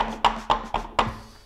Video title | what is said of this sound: I Bought Project Farm’s TOP RATED String Trimmer | made of a much thinner gauge plastic than this feed feed and you could kind of tell when we tap on them